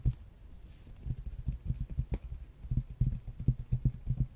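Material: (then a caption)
Cardboard. Fingernails tap on a large, flat, glossy hardcover art book with a red dragon cover, held in one hand and tapped with the other. The result is a quiet, irregular run of soft, dull thumps that are deep and muffled, with almost no brightness. Each tap dies away almost instantly.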